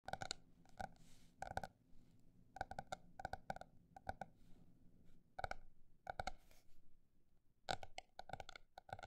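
A paper notebook is tapped in quick clusters of short, dry clicks, separated by brief pauses, with the pace shifting between fast and slow. Each tap has a hollow, woody tone around 770 Hz with bright edges and almost no ring. A faint low hum sits underneath throughout.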